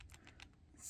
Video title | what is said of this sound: Robotnik Claus gave me some early Sonic 3 figures... | you hear that? It's the legs.